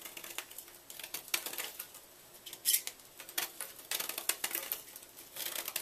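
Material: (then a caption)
Chalk. A small knife blade carves and scrapes into the corner of a solid white, palm-sized magnesium carbonate gym chalk block held in one hand, with chalk flakes falling onto a black surface. The sound is a quiet, dry series of bright, crackly scrapes in short bursts, with no low end.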